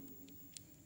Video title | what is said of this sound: kecambah sawit unggul VS non unggul | berat punya masa jadi Suaranya kayak batu